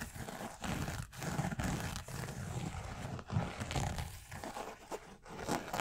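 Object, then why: Knit fabric sneaker upper. A hollow white and black knit-upper sneaker in the Yeezy 350 style, held in the hands, is tapped and scratched with fingertips and nails. The result is a continuous low, muffled rustling and scraping texture broken by short gaps.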